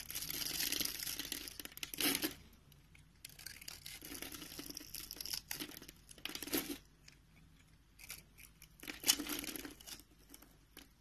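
A green-handled utility knife scrapes cubes off a rectangular, solid, palm-sized beige soap bar with a scored grid surface, and crumbs fall away. Several bursts of bright, dry, crumbly tearing and crunching are heard, separated by short quiet pauses, with no ringing afterward.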